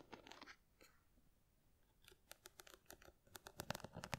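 Long nails scratch across the studded face of a small square box covered in glass or plastic rhinestones, held close to the microphone. A few quiet bursts of crisp, gritty scratching come first, then a brief lull, then a quick, uneven run of sharp, bright clicking ticks that get louder toward the end.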